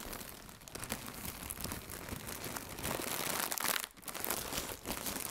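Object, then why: Thin plastic air cushion packaging. Two hands with red-nailed fingertips squeeze and crinkle large, thin, hollow, air-filled blue plastic AIRplus shockproof air cushions. The result is a steady, dense, bright crinkling and crunching with quick crackles throughout. It briefly drops quieter just before the 4-second mark, then picks up again.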